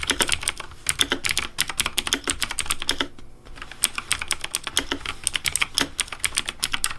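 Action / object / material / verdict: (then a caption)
tap / plastic mechanical keyboard / plastic / none. Fingertips of both hands type fast on a Razer Deathadder V3 Pink plastic mechanical keyboard with RGB backlight and hollow plastic keycaps. A rapid stream of sharp, bright clicks with very short decay is heard, broken by a brief pause just past the three-second mark before the typing resumes.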